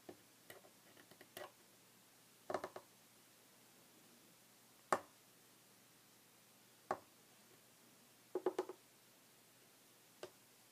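Short red fingernails of both hands tap a flat, solid, light wooden tabletop. Quiet, dry, mid-pitched clicks come in irregular bursts and single taps separated by silence, each dying away almost at once.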